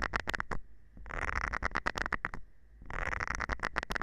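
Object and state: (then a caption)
Silicone scrubber pad. A thin metal rod scratches the nubs of a round green silicone scrubber pad held by hand. Quick, bright, dry scratching clicks come in three bursts separated by short pauses. A faint steady tone sits underneath throughout.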